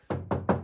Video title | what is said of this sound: Regardons la lanterne la HOLOPHANE ARO 2 #3 | ça sonne pas du tout pareil donc là ça sonne normal comme de la fibre